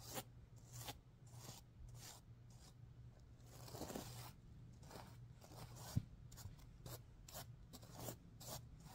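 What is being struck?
Stuffed sequin pillow.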